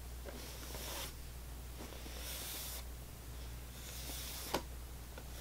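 Long painted nails and fingertips scratch and tap the top of a closed, full rectangular cardboard box of saltine crackers lying on a table. Soft bursts of bright, hissy scratching come and go over a steady low hum. A single sharp tap stands out near the end.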